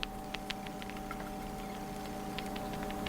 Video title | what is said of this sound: native california bay nuts,identification,harvesting and preparation,utilizing natural resources | that rattle when you shake them and you hear the rattle the nut as they dry they shrink inside the shell and that's an indicator